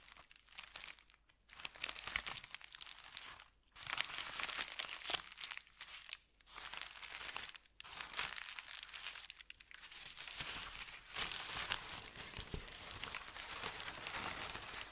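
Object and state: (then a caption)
Thin paper sheet. A thin, white, crinkled sheet of paper is scratched and rubbed with fingertips and nails, then lifted by hand. The result is dense, bright crinkling and crackling with almost no low end, broken by brief quiet pauses between bursts.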